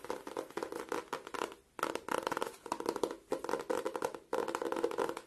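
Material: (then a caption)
Cardboard. An A5 spiral notebook with a glossy floral laminated cardboard cover and a metal wire spiral is held in both hands while fingertips and nails tap and scratch its cover. Dense bursts of quick, crisp scratching and tapping come in several rapid runs, separated by brief pauses. The sound is dry and papery, centred in the mids with a bright edge.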